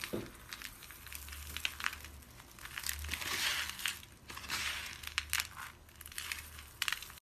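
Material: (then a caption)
Soap. Cupped hands with pink nails squeeze and crush brittle, solid white dry soap shavings held above a cardboard box. The result is a dense, bright crunching and crackling that swells into louder bursts and then eases off, over a faint steady low hum.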